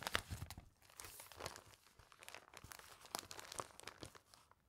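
A clear, thin plastic sheet protector holding a newspaper page is held in both hands above a binder while fingertips bend and crinkle the sleeve. A steady stream of quiet, bright crackles and crinkles with short, sharp snaps continues throughout the clip.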